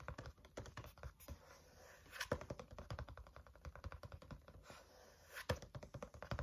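Fingertips tap rhythmically on the front cover of a green-covered spiral notebook held at an angle. The result is a quick, steady stream of soft, dull, papery thuds, weighted toward the low end with little brightness. A few louder accents rise above the pattern.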